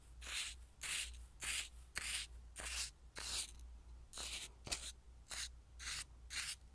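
A wooden spoon stirs and scrapes through coarse white salt in a small clear glass bowl. It makes a series of bright, rasping, granular rubbing strokes at a steady, slightly uneven pace, over a faint low hum.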